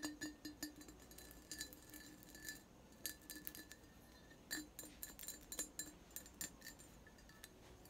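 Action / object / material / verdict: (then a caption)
tap / textured glass vase / glass / none. A medium-sized, apparently empty hollow vase of clear glass with a faceted, textured surface is held up near the microphone and tapped and scratched with fingertips and nails. It gives quick, bright glassy clinks and chinks with a faint ringing tone that dies away almost at once. Soft scratchy rustling fills the gaps between the taps.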